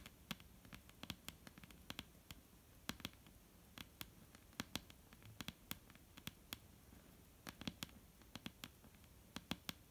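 Fingertips tap on a wooden table in an irregular run of about 40 sharp, clicky knocks. Each knock is short and bright with almost no ring, over a quiet low rumble.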